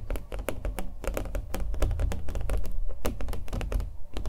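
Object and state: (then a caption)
Fingernail tapping on a stretched canvas. Fingernails tap the face and edges of a small, hollow-backed, acrylic-painted stretched canvas held in the hands. Quick, irregular taps each carry a soft, hollow low thump and a brief bright click. Each tap dies away almost at once.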